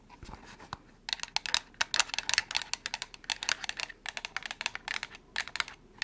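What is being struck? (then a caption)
Small cardboard box. Long nails, with crystals on the fingers, tap and scratch a small, hollow, white printed cardboard product box. A few soft taps give way to rapid, bright, dry clicking and scratching that stops short with no ring.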